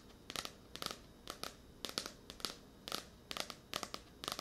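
Long nails tap and scratch a blue "Tears of a Tiger" paperback, a solid paper book with a glossy card cover, close to a microphone. Nine quick bursts of bright, crisp clicking and scraping repeat at a steady pace, each made of several rapid, papery ticks that die away almost at once.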